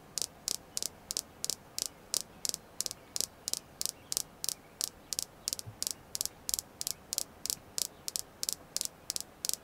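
A red jasper crystal stone is tapped continuously in a steady rhythm, about three taps per second. Each tap is a sharp, bright click that dies away almost instantly over a faint hiss, with about 30 separate taps heard across the clip.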